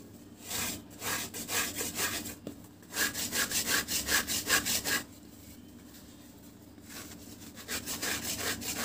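A partly broken, flat, solid dry cement cake held in one hand is shaved with a metal knife blade in scraping, sawing-like strokes. Bright, gritty rasps come in quick bursts, with a faster, louder run of strokes in the middle. A quiet pause follows before softer strokes build back up toward the end.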